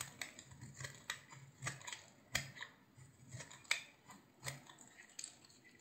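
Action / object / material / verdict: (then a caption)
scrape / solid bar of soap cut with a knife / soap / none. A utility knife slices thin curls from a solid, hand-sized green bar of soap with a blue rim. Each cut makes a short, crisp, bright scraping crunch with a faint low thud beneath it. The strokes come at an irregular pace, separated by quieter gaps.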